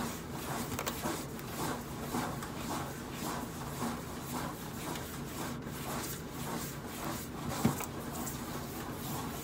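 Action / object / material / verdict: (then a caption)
scrape / stainless steel microwave side panel / stainless steel / none. Long acrylic nails scratch and rub in sweeping strokes across the flat stainless steel side panel of a hollow microwave. The result is a steady, repeating, bright, scratchy rasp with a low hum beneath it, broken by one sharper click near the end.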